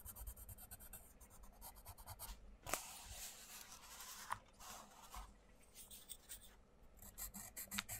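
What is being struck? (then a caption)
Colouring pencil on a thin paper book page. A wooden colouring pencil tip is rubbed and scratched in short strokes across a thin paper page of an open paperback colouring book on a wooden table, while the fingertips of the other hand hold the page. The result is a quiet, bright, dry scratching and rasping in rapid bursts, with a few sharper ticks standing out.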